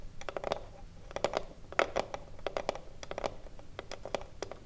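Long blue nails tap and scratch along the top edge of a small, hollow wooden cigarillo box. The result is a quick, irregular run of short, dry clicks with a hollow mid-range knock and bright ticking tops that die away almost instantly. Faint scratching fills the gaps between the taps.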